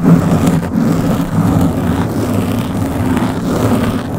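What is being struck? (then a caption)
Foam microphone windscreen. Long blue-painted nails on both hands scratch a round black foam windscreen that covers the head of a Blue Yeti microphone. The result is a steady, dense rumbling scrape, heavy in low tones with almost no bright content, that holds at a fairly even loudness throughout.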